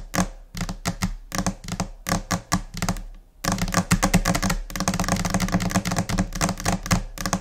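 Long painted nails of both hands tap across a large, flat white desk top, likely laminated particleboard though the material is uncertain. Sharp, clicky taps with a short, hollow low thud come in scattered bursts with brief pauses at first, then merge into a dense, rapid, continuous flurry for the second half.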